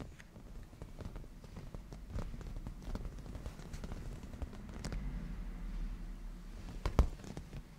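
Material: Leather.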